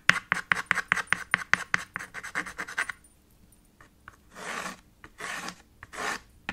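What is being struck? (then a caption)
Chalk on a small chalkboard slate. White chalk strikes a small black chalkboard with a red frame in a fast run of 16 short, sharp tapping strokes over about three seconds. After a brief quiet gap, three longer, softer rasping passes follow as the chalk scribbles and shades across the slate.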